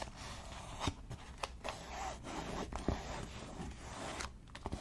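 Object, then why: Grained leather wallet. A flat, pale pink grained leather wallet with stitched edges is held in the hands and tapped and scratched with long nails. About nine short, sharp clicking taps stand out over a soft, continuous scratching and rubbing on the leather, with a low background hum.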